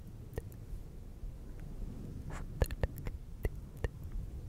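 Fingertips of both hands rub and squeeze a fluffy synthetic fur windscreen on a silver microphone. The result is a quiet, muffled, low rumbling rustle broken by several short, sharp crackling taps that cut off instantly.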